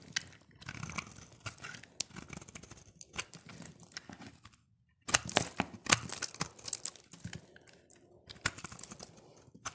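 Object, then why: Bar of soap cut with a blade. A utility blade carves and scrapes flakes from the face of a solid, dry pink soap bar. It makes dense, bright, crunchy scraping and crackling with short, dry ticks. There is a brief silent pause midway before a louder burst of carving resumes.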